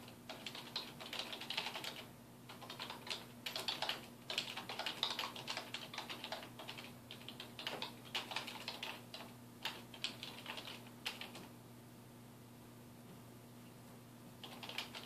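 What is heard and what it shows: Fingertips type on the keys of a dark plastic desktop keyboard resting on a wooden desk, producing rapid, bright clicking taps in quick bursts. The typing pauses for about three seconds near the end, leaving only a faint steady low hum, before the clicks resume briefly.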